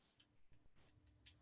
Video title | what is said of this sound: Week of Jewelry Making: Create UV Resin jewelry using bezels with Blue Moon Studio - Michaels | you can hear that tap that this is fully cured